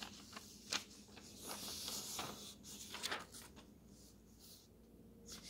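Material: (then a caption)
Paper. Fingers turn and slide the thin paper pages of an open road atlas between them, without squeezing. Quiet, bright, airy rustling runs throughout, broken by a few sharper crisp flicks as pages move. Each flick dies away almost immediately.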